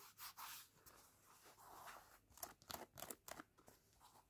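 Fingertips and short painted nails scratch and rub across the light grey knit-mesh textile upper of a laced sneaker, with the hollow shoe held in the hands. Soft, breathy rubbing swells give way to quicker, irregular bright scratching strokes with a dry, textured hiss. The sound stays quiet throughout and has almost no low end.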